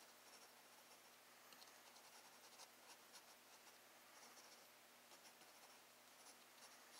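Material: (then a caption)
Paper. A graphite pencil scratches line work for a flower drawing on a flat paper sheet in a spiral sketchbook, held steady by the other hand. A quiet, continuous, bright scratching hiss with small bursts of strokes is heard throughout, over a faint low hum.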